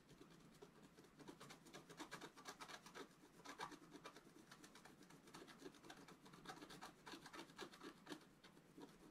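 A wooden stylus makes repeated short scratches at the top right of a flat black coated scratch art paper sheet lying on a table. Each stroke is a quiet, dry, bright rasp with a quick end, falling in an uneven rhythm of about two per second, with no low rumble underneath.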